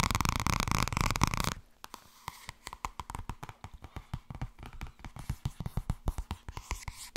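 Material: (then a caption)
Paper. Long red nails scratch the glossy front cover of a thin purple paperback book held upright, making a dense, loud rustling for the first second and a half. This is followed by a fast, uneven run of dull, short taps on the cover, each with no ring.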